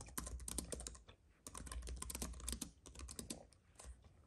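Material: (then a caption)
Plastic. Both hands type steadily on a slim white wireless keyboard with plastic keys on a silver aluminum base, resting on a dark fabric mat. Quick, dry clicks and taps come in dense bursts with brief pauses between them, over a low thud from the keys bottoming out.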